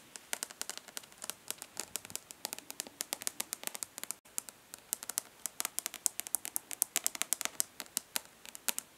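Long nails tap fast on the embossed lid of a rectangular, hollow plastic eyeshadow palette held in one hand. Dozens of quick, sharp, bright clicks follow one another with almost no low end, and there is a brief gap just after four seconds before the tapping resumes.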